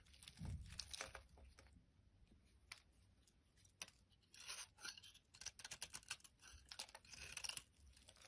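A utility blade shaves flakes off the top edge of a solid orange bar of soap held in hand. It makes quiet, dry, bright scraping and crunching strokes in irregular bursts, with a soft low thump near the start. The sound dies away quickly after each stroke.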